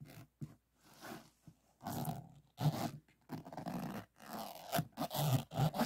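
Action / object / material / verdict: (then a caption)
scrape / resin diamond-painting drills on a flat board / resin / none. Fingernails scratch and tap rapidly over the resin drills of a finished diamond painting lying on a flat board. The result is a string of short, dull, scratchy rasping bursts, mostly low in tone, separated by brief silences.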